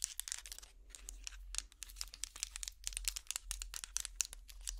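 A hot pad trivet made of small solid wooden blocks is held up and scratched across with long plastic fingernail picks. The result is a quiet, dense stream of bright, dry scratching and crinkly clicking with very little ring, over a steady low hum.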